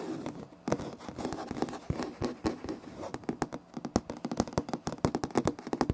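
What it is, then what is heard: Laminate floor. Both hands with short nails on curled fingers scratch a flat, solid, light wood-grain laminate floor. A dry, rustling scrape with a low-mid body runs through the first half, then turns into a fast string of sharp, separate scratch strokes. Each stroke stops almost at once, with no ring.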